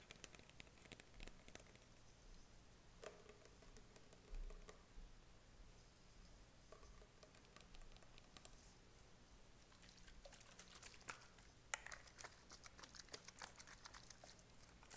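Short fingernails tap on a tall, clear plastic body-spray bottle with a label, a spray cap and liquid inside. The result is a quiet, steady patter of many light, clicky taps with bright, crisp edges over a faint low hum.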